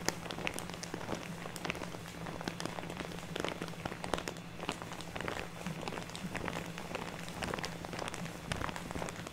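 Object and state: Plastic bag of artificial snow.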